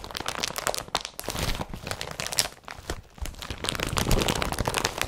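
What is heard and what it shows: An empty blue IKEA BRATTBY carrier bag made of woven polypropylene lies spread out while fingers rub and crinkle its woven surface. The result is a dense run of dry, crackly crinkles and scratchy rustles with short, bright bursts and no ringing, broken by a brief quieter dip near the middle.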